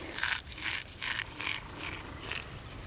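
Sun-dried, saved eggshells are crushed by hand into a planting hole to add calcium. A run of sharp, bright, glassy crackles and crunches comes in quick bursts with almost no low end. The shells sound dry and brittle.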